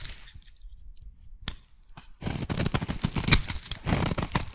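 A metal blade scrapes a solid pink embossed soap bar into thin shavings. The clip opens quietly with faint scraping and one sharp click, then turns into a dense, crunchy, crackling scrape with bright, gritty texture as the shavings peel away.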